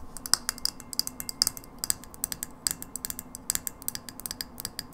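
A hollow frosted glass light bulb, held against a table, is tapped and scratched by long nails. Its surface gives about 29 rapid, bright, high-pitched clicks with almost no ring, along with light scratching between taps.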